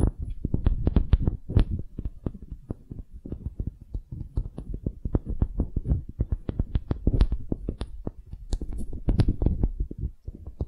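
A small solid wooden hemisphere is first tapped with long nails, then turned dome-up and scratched with both hands. The result is a dense run of short, dull, low thuds and knocks with almost no ring. Faint brighter clicks and scrapes appear over them, especially toward the end.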